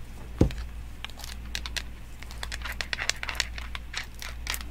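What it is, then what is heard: Small wooden toy block. A small, solid, round unfinished pine toy block is held in one hand and tapped and scratched by long nails wearing metal nail jewelry and rings. One sharp tap opens the clip, followed by a run of quick, light, bright clicks and dry crinkly scratches that stop short with almost no ring, over a steady low hum.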